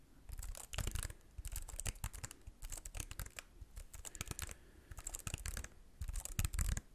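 A slim white computer keyboard with plastic keys is held at angles close to the microphone while fingertips tap and press the keys. Quick, dry plastic clicks come in uneven bursts, each a short bright clack over a soft low thump, with brief quiet gaps between flurries.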